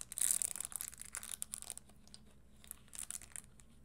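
Long nails tap and scratch the tan leather insole and studded upper of a red spiked leather Christian Louboutin stiletto pump, which is held upright. Bright, crinkly scratches and quick clicks come thickly at first, fade into a near-quiet lull, then return in a shorter cluster.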